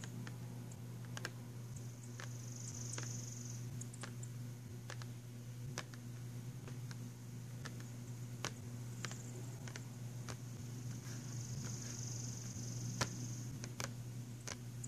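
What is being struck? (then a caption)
Cardboard pencil box. Fingernails tap the glossy cover of a filled, printed cardboard box of pastel pencils, making light, sharp, clicky taps scattered through the clip. A steady low hum sits underneath, and a faint high tone comes and goes.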